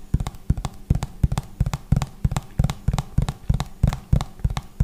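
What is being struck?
Plastic hand wash pump bottle.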